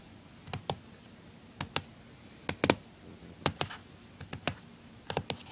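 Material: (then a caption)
Plastic. Fingertips and nails tap and scratch the lid of a closed, small, hollow blue plastic Nintendo DS-style handheld game console lying on a wooden table. Sharp, bright clicks come in quick pairs and small clusters over a quiet background, each dying away almost instantly, with faint scratchy rustles between them.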